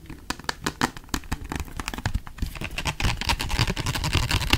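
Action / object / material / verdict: tap / small plastic bottle / plastic / none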